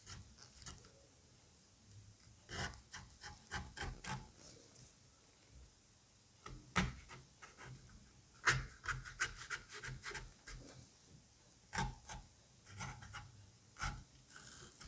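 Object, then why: Halved butternut squash flesh scraped with metal tools. A gloved hand scrapes the flesh and cavity of a halved butternut squash with a scalpel, then with a small metal curette. The result is a series of short, quiet rasping and rubbing strokes with bright, crisp edges, separated by brief pauses.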